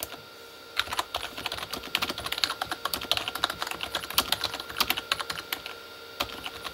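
Both hands type with their fingertips on a full-size, hollow Corsair K35 backlit mechanical keyboard with plastic keycaps on a plastic body. A rapid, uneven stream of short, bright plastic taps and clacks follows, with almost no low end and each tap dying away instantly. Brief pauses come at the start and near the end.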